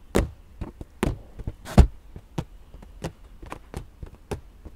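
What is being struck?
Inflated latex balloon.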